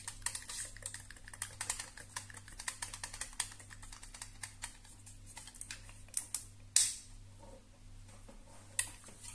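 Long nails tap and scratch along the arms of a black and purple plastic hair straightener (a flat iron) with a hollow housing, making a rapid run of light, bright, hollow clicks and scrapes. A steady low hum runs underneath, and a few sharper, louder taps stand out near the end.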